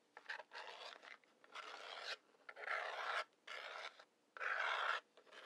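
A wooden match head is scratched back and forth along the side striker strip of a large, hollow cardboard matchbox held in one hand. It makes a series of dry, rasping scrapes, mostly longer strokes with a few short flicks between them. Each stroke is a gritty, bright hiss with no low rumble, and it stops sharply at the end.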